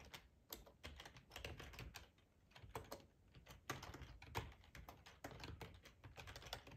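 Fingertips with short nails type on a hollow black plastic ergonomic split keyboard resting on a plaid tablecloth. The result is a quick, uneven stream of clacky keystrokes, each a short tap with a low, hollow thud under a bright click that dies away almost at once.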